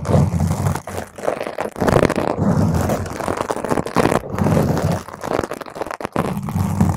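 A round purple foam microphone cover is scratched and clawed with long nails from both hands, making dense, continuous crackling, rumbly scrapes close to the mic. The sound is heavy in the low end with only brief dips between strokes.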